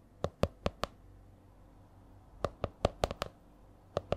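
A purple A4-size spiral notebook with a stiff laminated cover is held upright, and its cover is tapped and lightly scratched with long nails. About twelve short, crisp taps with a hollow mid-pitched ring fall in a slow, uneven rhythm: four near the start, a cluster of six after a pause, and two more at the end.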